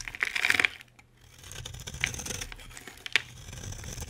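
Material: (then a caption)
Soap. A solid, dry green bar of soap held in the hand is shaved with a metal utility blade. A burst of crisp, bright scraping and crackling comes first, then a short pause, then softer, steady shaving broken by a few sharp, dry ticks. There is almost no low end and no ring after each cut.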